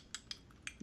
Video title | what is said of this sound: We Broke Our Film Gear [Ep44] | Did you hear that rattling? That's what I hate. Like, you hear that rattle?